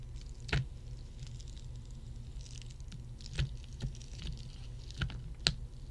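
A row of solid ice cubes on a red mat is tapped with fingertips and long nails. Six short, dry ticks with a bright clicky edge stand out, spread irregularly over a steady low rumble. Each tap dies away almost at once.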